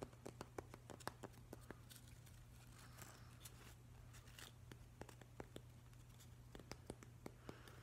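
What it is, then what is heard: Weathered driftwood plank. Fingers and nails tap and scratch along the edge of a solid, weathered driftwood plank, making a quiet run of short, dry clicks with brief scraping passes between them. A steady low hum sits underneath the whole time.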